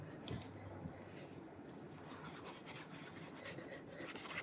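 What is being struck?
Leather shoe rubbed with a cloth.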